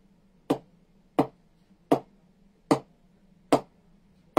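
A cricket ball is tapped on the blade of a butterfly willow cricket bat, making six sharp, short knocks spaced unevenly across the clip. Each knock has a quick, bright ping with a very short ring. The bat is soft and well pressed, so the ball springs off the blade with good ping, unlike a slightly harder bat from the same batch.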